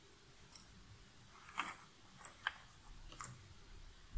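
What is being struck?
Cardboard jigsaw puzzle pieces in a cardboard box lid.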